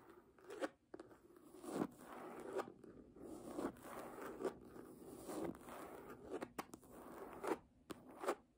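Long nails scratch the page edges and cover of an embossed red hardcover book lying flat. The result is a series of dry, rasping midrange scratching strokes with brief louder peaks and almost no low end or ring.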